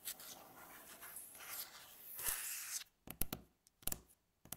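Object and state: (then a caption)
Wooden tabletop. Long fingernails scratch across a flat, solid, light-coloured wooden tabletop in a steady, bright, rasping rub for almost three seconds. This is followed by a few sharp, separate taps on the same surface, each dying away almost instantly between quiet gaps.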